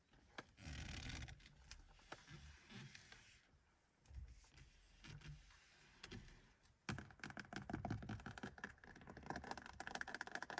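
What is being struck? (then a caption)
Plastic steering wheel rim. Long acrylic nails and fingertips tap and scratch along the black steering wheel rim of a 1982 Mercedes 200, which has a grippy textured plastic or rubber surface over a solid core. Soft, dry scratching and rubbing swells come and go in the first half. From about 7 seconds, a dense run of quick, sharp clicking taps takes over, with a bright edge on each tap.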